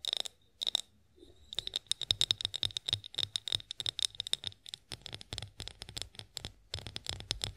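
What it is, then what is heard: Glass olive oil bottle. A partly filled clear glass olive oil bottle with a spout, gripped in both hands, is tapped with long acrylic nails. A rapid series of sharp, bright clicks rings briefly at a high pitch, with short pauses early on before the tapping runs almost continuously.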